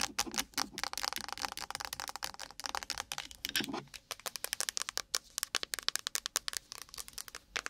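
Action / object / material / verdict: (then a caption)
tap / metal aerosol spray can / metal / none. A blue-and-gold Nivea UV sunscreen spray can, a tall hollow metal cylinder, is laid across the mic and tapped and scratched fast with very long pointed nails, then held up and tapped at the side. The result is a dense run of bright, dry clicks and crinkly scratching with almost no ring, with a brief rougher scrape just before the taps turn sparser and sharper.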